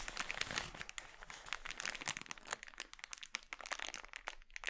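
Fingertips pinch, squeeze and crinkle an empty, glossy red, thin polyethylene mailer bag scrunched into a ball on a wooden board. The result is a steady run of crisp, bright crackles and rustles with little low end, each snap dying away almost instantly.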